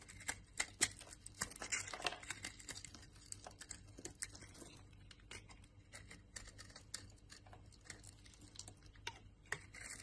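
A solid brown laundry soap bar is carved with a utility knife blade, and dry crumbs fall off. The sound is a quiet, bright run of crisp scraping and crackling clicks that comes in quick, irregular bursts, louder in the first two seconds, over a faint steady low hum.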